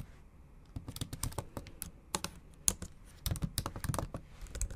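Long acrylic nails type on a MacBook Pro laptop keyboard with black plastic keys set in an aluminum body. A quick, uneven run of short, dry clicking taps comes through, each bright and sharp with a soft low thump underneath. Each tap dies away almost at once.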